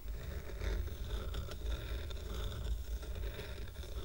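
A stack of square painted wooden coasters with a red heart design, tied with twine, is scratched by fingertips and short nails across the painted top and the wooden edges. The result is a steady, dry scraping rustle over a heavy low rumble, broken by a few brief sharper ticks.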